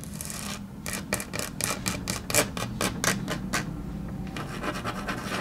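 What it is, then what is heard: Laminate tabletop tapped with fingernails. Long natural nails tap rapidly and scratch lightly on a solid, flat grey wood-grain laminate tabletop. Bright, crisp clicks come in a quick, uneven run over a low background hum, with soft scratching fading in toward the end.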